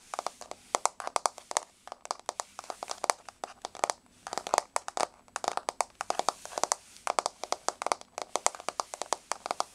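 Long blue-grey nails of both hands tap fast on a solid, flat wood-grain laminate floor, making a rapid stream of sharp, dry clicks that die away instantly. The taps come in bursts with brief pauses, each click bright and crisp with a woody mid-range body and no low thud.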